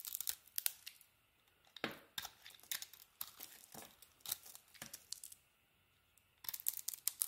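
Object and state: Bar soap being cut and scraped with a knife.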